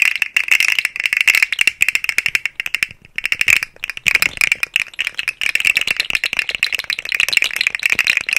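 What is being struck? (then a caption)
Segmented plastic slug toy. A rainbow, segmented, hollow plastic articulated slug fidget toy is dangled and shaken on both sides of the microphone, its segments rattling against each other. The result is a dense run of dry, clicky rattling bursts centered around 2.7 kHz with bright high hiss. There is almost no low end, and each click dies away instantly.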